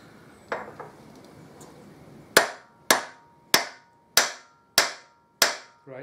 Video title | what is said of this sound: Harley Davidson Deuce trike conversion Part 11 | can hear by that change of noise that's now level with the top of the headstock